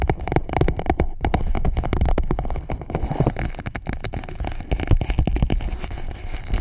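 An empty clear PVC pouch wrapped around a microphone is tapped and scratched by long nails. The result is a dense, continuous stream of quick taps and scratchy crinkling with a heavy, muffled low-end thump. The level stays steady throughout, with a few louder taps near the end.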